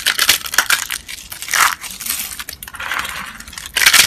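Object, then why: Soap flakes. A pile of pale yellow-white dry soap flakes, solid and brittle, rests on a mesh mat and is gathered and crushed with both hands and fingertips. Dense, bright, crunchy crackling comes in uneven bursts, swelling louder near the start, around the middle and again at the very end.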